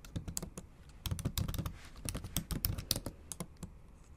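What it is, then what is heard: Laptop keyboard typing. Long acrylic nail tips and fingertips tap the backlit black plastic keys of a silver aluminium MacBook Pro in a typing motion. An uneven run of quick, dry clicks follows, each with a dull low thump beneath a bright tick, dying away almost instantly.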